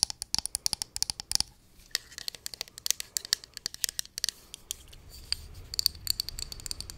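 Long nails rapidly tap and scratch a small, hollow pink plastic cosmetic pump bottle held close to the microphone. Dozens of sharp, bright clicks come in quick bursts over a soft scratching hiss. Each tap is dry and stops at once with no ring.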